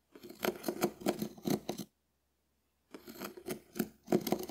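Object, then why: Dried konjac sponge scraped with a wooden spoon. A hand-sized, shell-shaped, hard dried konjac puff is held in one hand and scratched and scraped with a small wooden spoon. Quick, dry, raspy strokes with a crisp crackle come in a run, stop for about a second of silence, then start again.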